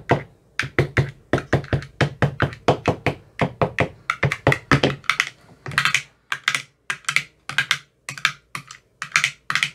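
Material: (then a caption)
Plastic, silicone. A metal rod with a white tip taps into the teal silicone cells of an empty, clear plastic ice cube tray with silicone cells. It makes a quick, steady series of short, hollow thunks, each with a low body, a bright tap on top and almost no ring. Toward the end the taps turn brighter and more spaced out.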